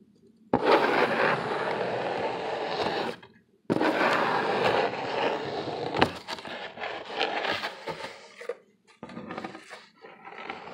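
Fingernails scratch and tap the ribbed face of a large, flat, brown corrugated cardboard sheet held upright, thin with hollow flutes. Two long, steady, bright rasping scratches come first, separated by a brief pause. These give way to quicker, uneven scratches and dry taps with short gaps between them.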